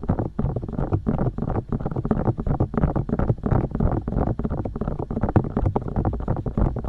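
Long dark nails tap and poke continuously on and around both silicone ears of a binaural microphone. The result is a dense, rapid stream of muffled, bass-heavy thumps and soft scuffing taps with almost no high or bright content.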